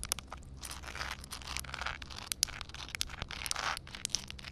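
Long dark red nails tap and scratch on flat wet concrete ground with a puddle. The result is a quiet, dense run of bright, crackly clicks and gritty scrapes with sharp, short taps, over a faint low hum.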